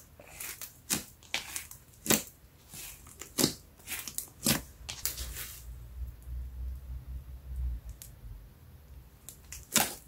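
A lump of brown slime with a metallic sheen on a yellow mat is stretched up, then pressed and poked flat with fingertips. Sharp, bright air-pocket pops and crackles burst out in quick succession for the first half. A quieter stretch with a low rumble follows, broken by a few more pops near the end.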